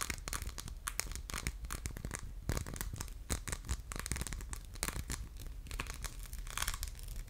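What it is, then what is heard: Glass soap dispenser, scratched. Fingernails scratch across the textured surface of a hollow, orange, faceted diamond-pattern glass soap dispenser with a metal pump. The result is a dense, continuous stream of quick, crisp scratches with bright, sharp clicks over a soft low rumble.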